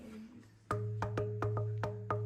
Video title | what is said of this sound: Crazy Cave Discovery at Colossal Cave, Arizona | a few things dictate the sound. Uh size, density, and the minerals that surround the base of it.